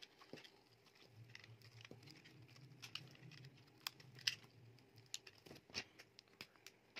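A solid, dry blue-coated soap bar with a white core is held in the hand while a utility knife blade scrapes and shaves off its outer layer. Soft, bright scraping and crumbly patter continue throughout, broken by sharp, high clicks and flicks as pieces come away. A low hum sits underneath.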